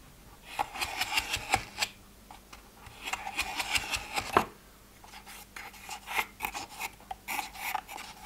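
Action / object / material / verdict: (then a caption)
scrape / plastic pill organizer / plastic / none. Fingertips and nails scratch and tap the lids of a multi-row translucent plastic pill organizer, with some of its compartments open and empty. Bursts of bright, raspy scratching alternate with sharp, dry taps that stop almost instantly, with short quiet gaps between them.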